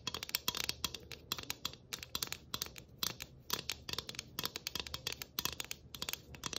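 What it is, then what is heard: Tin Christmas ornament. A flat, round galvanized tin Christmas ornament, about 12 cm across, made of thin hollow sheet with tree cut-outs, a studded rim and a ribbon bow, is scratched and tapped with long acrylic nails on both faces. Quick, bright, dry clicks and raspy scratches come in dense bursts, carrying mostly high, thin metallic sound with almost no low end and no ring after each contact.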